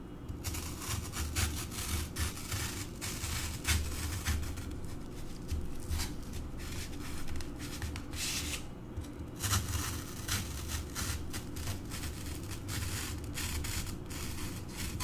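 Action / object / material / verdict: tap / green floral foam block / floral foam / none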